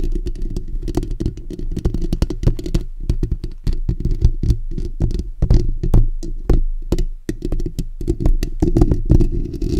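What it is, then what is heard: Metal mesh microphone grille being scratched. Fingertips and short natural nails on both hands scratch the bare steel wire-mesh grille of a black desktop condenser microphone, over its hollow dome. The result is a dense, rapid stream of close, scratchy taps and rustles with a heavy, boomy low end and sharp, brief clicks, broken by short pauses before the scratching resumes.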